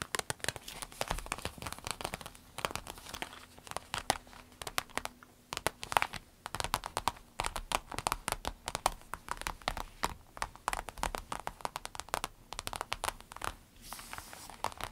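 Long acrylic nails tap and scratch across the surface of a small, empty, clear orange vinyl zip pencil case lying flat. The result is a dense stream of quick, dry, bright ticks mixed with crinkly scratching. Each tap stops almost instantly with no ring, all at a fairly quiet level.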